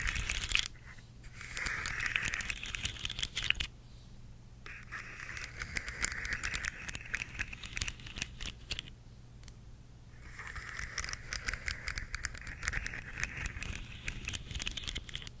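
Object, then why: Segmented plastic fidget toy. A rainbow segmented plastic slug fidget toy is held up close as long nails tap and scratch its hollow plastic segments. Dense, fast clicking and crinkly scratching come in three bursts with short quiet gaps between them. The sound is bright and centered in the upper mids, with a low steady hum underneath.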